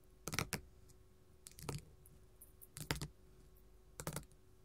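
Gold metal filigree finger claws tap and scratch a flat pink glitter faux leather sheet lying on a table. The result is four short, irregular bursts of crisp, clicky taps with a bright, scratchy texture. The taps are quiet, and the sound dies away quickly between bursts.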